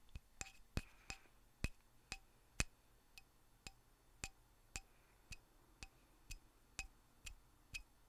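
Light tapping on the handle of a lignum vitae wooden mallet produces a series of short, dry, woody clicks with bright overtones and almost no ring. The taps are irregularly spaced and fairly quiet, with about 16 distinct taps over eight seconds.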